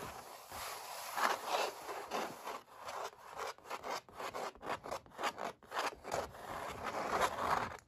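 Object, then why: Stretched canvas with oil paint. Fingertips and short nails rub and scratch across the textured paint of a stretched oil-painted canvas, with a metal ring worn on the hand. Dry, bright scraping strokes come in quick, uneven bursts, rising into short rasping sweeps toward the end.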